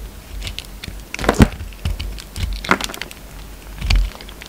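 A hand-held solid peach soap bar with a green speckled coating is shaved and scraped with a utility knife blade. Short, dry scraping rasps and soft crackling strokes come in bursts, with a few louder bright shaves and low muffled thumps between quieter passes.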